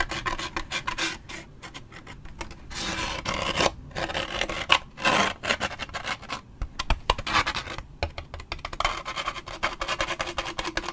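A toothpick and fingernails scratch the side of a large waxed paper drink cup with a lid and straw, then move up near the top. Rapid, bright rasping strokes come in dense runs, broken by a few longer, smoother rubbing passes. The scratches are dry and close, with almost no ring after each one.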